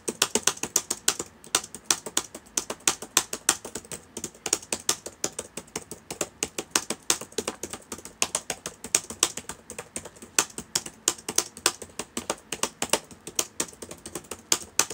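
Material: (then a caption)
Plastic. Fingertips of both hands type on the plastic keys of a black laptop with a hollow body, open on a table. Rapid, uneven streams of short, crisp clicks and taps sound bright and dry, with almost no low end and no ring after each keystroke.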